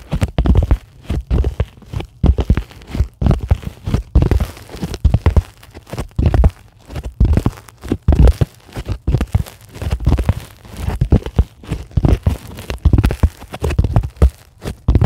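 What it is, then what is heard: Polyethylene foam sheet. Long glittery acrylic nails scratch and tap a flat, solid, white closed-cell polyethylene foam sheet. The result is a dense, irregular run of soft, muffled scratching bursts and dull taps, mostly deep and low with very little brightness. Each sound dies away almost at once.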